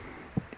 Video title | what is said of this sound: THE SHOP ROOF HAS A LEAK | when I tap on it, it sounds like it's very thin. So in other words, it's rotting away.